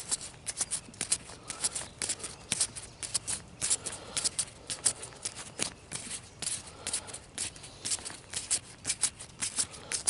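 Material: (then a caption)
Plant leaf. A single broad, thin, fresh green leaf still on the plant is rubbed and crinkled between fingers and thumb. The result is a quiet, dense run of crisp, high-pitched crackling and rustling in short, irregular bursts with no ring after each one.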